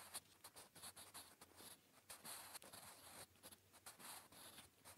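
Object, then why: Graphite pencil on a paper notebook page. A blue wooden graphite pencil scratches across a flat grey lined notebook page, a solid sheet, while writing Korean. The quiet, bright, dry scratching comes in a rapid series of short strokes and brief pauses, with a faint low hum underneath.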